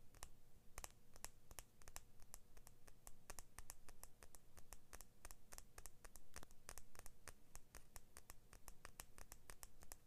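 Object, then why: Small steel scissor blade. Fingernails scratch rapidly along the thin, solid steel blade of small scissors with orange and blue plastic handles. The result is a quiet, fast stream of dry, bright scratching clicks that stop short, over a steady low hum.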